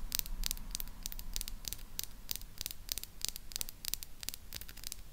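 Long pink acrylic nails tap and scratch the hollow grille head and body of a small silver, chrome-plated plastic mini retro microphone held upright on its stand. Rapid, sharp, bright clicks with no ring sit over a steady low rumble and hum, with soft scratchy rustling between the taps.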